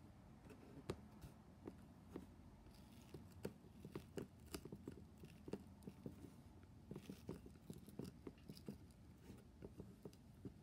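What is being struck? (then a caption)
Corrugated cardboard shipping box. A large, empty-sounding corrugated cardboard shipping box sealed with black plastic packing tape is tapped and rubbed across its taped side with fingertips and a flat hand. Quiet, hollow, dull taps and soft scratchy rubbing repeat steadily throughout, each tap short with little ring.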